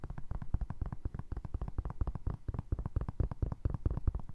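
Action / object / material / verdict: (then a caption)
tap / foam resin clog / foam resin / none. Fingertips tap and scratch a single navy blue foam resin Crocs clog, first on the upper and then on the ridged sole. The result is a rapid, steady run of soft, dull, muffled thuds, deep and bassy with almost no bright content, each tap dying away instantly.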